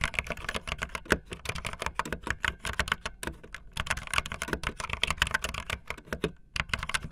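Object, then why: Plastic mechanical keyboard keys. Fingertips with long nails type fast on a backlit optical linear mechanical keyboard with white and blue plastic keycaps. A rapid, steady stream of short, sharp plastic clacks with bright, crisp edges and a light low thock underneath. Each keystroke dies away almost at once, with only brief pauses between bursts.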